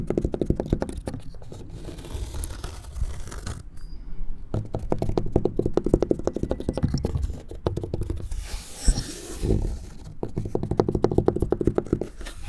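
A small handheld tool scratches and taps rapidly across the grey weathered plank surface of a large, solid outdoor wooden picnic table as a man leans over it. The result is a dense, dry, low-heavy scraping patter in bursts, with brief pauses near four and ten seconds.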